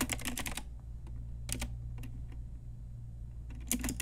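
An Ajazz pink typewriter-style retro mechanical keyboard with round plastic keycaps is typed with long nails and fingertips. A quick run of bright, clicky keystrokes gives way to a few scattered taps over a steady low hum, then another rapid burst of clacks ends the clip.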